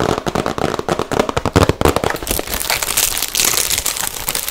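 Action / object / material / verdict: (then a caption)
tap / small cardboard box / cardboard / none. A small, hollow, rectangular yellow cardboard gift box is held in both hands and tapped and scratched with fingertips and nails. A quick run of crackly, hollow taps with a low thump fills the first half. It then gives way to a brighter, steady scratching hiss over the box's surface.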